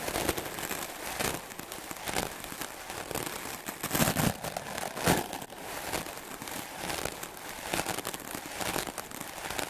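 A solid white rectangular melamine foam (magic eraser) sponge, held by the fingertips, is brushed fast and hard with a wooden-backed clothes brush with dense black bristles. Continuous scratchy, crackling bristle strokes fill the clip, with louder swipes surging roughly once a second in an uneven rhythm. The sound is bright and hissy, with little low end.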